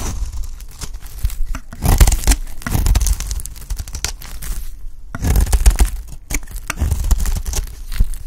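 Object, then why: Bar of soap cut with a metal blade. A solid rectangular purple bar of dry soap is held in the hand while its corner is scraped and cut with a metal utility blade, peeling flakes off. Dry, close, scraping and tearing strokes come in bursts, with low, thumping handling noise underneath and brighter crackles on the louder cuts.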